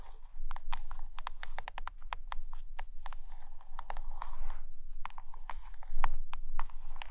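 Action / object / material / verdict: tap / closed hardcover book with laminated cover / laminated cardboard / none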